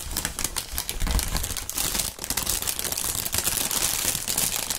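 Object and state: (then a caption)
Plastic air cushion packaging film. Clear, thin, partly inflated plastic air-pillow packing film is crumpled and squeezed by both gloved hands. Dense bright crinkling is heard with rapid sharp pops as the air cells burst, over a low thumping rumble from the handling.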